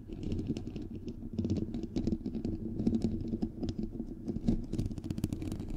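Fingernails rapidly tap and scratch on the hollow white perforated metal mesh grille of a bare microphone head. The result is a dense, continuous stream of quick clicks and scratchy ticks over a muffled, hollow low thumping that dies away almost instantly.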